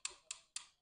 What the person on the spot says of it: extintor de água um som mais abafado